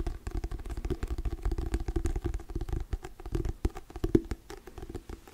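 Fingertips and nails tap rapidly on the glossy, paper-covered cardboard cover of a solid hardcover Diary of a Wimpy Kid book held close to the microphone. The result is a steady run of short, dry, low-heavy taps with a hollow mid-tone knock and almost no ring, varying a little in loudness.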